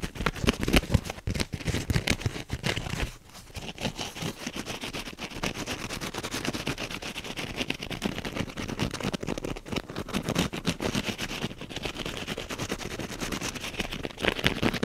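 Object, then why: Foam kitchen sponge. Fingernails scratch and rub the teal wavy foam side of a kitchen sponge held close up. The result is a dense, fast, crackly scratching texture spread from low rumble to bright hiss, louder in bursts at the start and end, with a brief quieter dip around three seconds.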